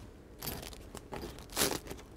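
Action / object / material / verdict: scrape / French bread loaf crust / bread crust / crisp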